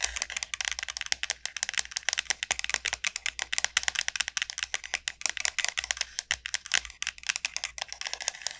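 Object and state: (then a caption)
Dried bottle gourd. Long nails tap and scratch the bulbous end of a large, elongated dried bottle gourd with a hard, hollow shell. A rapid, uneven stream of dozens of dry, clicky taps with brief scratches comes through, bright and crisp with almost no low end. Each tap dies away almost instantly.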